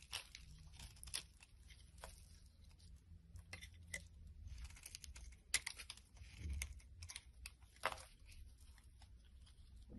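A blade scrapes long shavings off a solid green bar of soap held in the palm. Quiet, crisp scraping and crackling strokes come in short bright bursts over a steady low hum, each stroke dying away almost at once.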